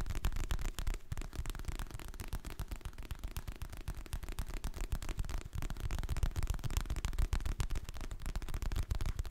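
Fingertips and nails tap rapidly on the glossy printed cover and edges of a solid, medium hardcover paper book held in both hands. The taps are dense and irregular, with dull, low, short-decaying thuds and faint clicks running steadily throughout.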